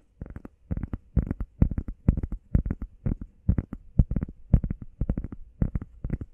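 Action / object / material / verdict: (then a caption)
tap / foam workout pad / foam / none. Fingernails tap quickly on a heart-shaped foam workout pad. The taps come in short, irregular bursts, each soft, dull and thudding, with almost all the energy low and no ring after each tap.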